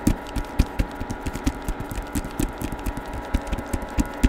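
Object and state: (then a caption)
Hardcover book, tapped. Fingertips tap and scratch the glossy printed cover of a hardcover book showing a woman's face, held in both hands near the microphone. About 17 short, dull, low thuds come in an uneven rhythm, with soft scratching between them over a faint steady hum.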